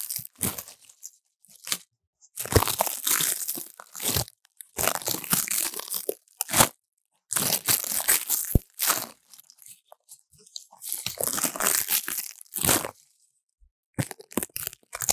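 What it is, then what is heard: Dry leaves crunched in a bowl. Fingertips press and crunch dry, crinkly leaves heaped in a stainless steel bowl, with a foam-covered lav mic sitting among them. Bursts of brittle, bright crackling come in short, close-miked clusters, separated by brief silences.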